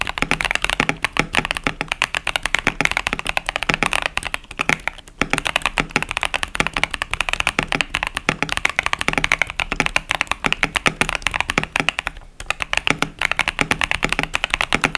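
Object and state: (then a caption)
Mechanical keyboard with plastic keycaps. A 65% KBD67 Lite mechanical keyboard with Boba U4T tactile switches and cherry-profile plastic keycaps is typed continuously with the fingertips of both hands. Rapid, dense key presses produce short, crisp clacks with a bright, high emphasis and almost no ring, and brief pauses between bursts.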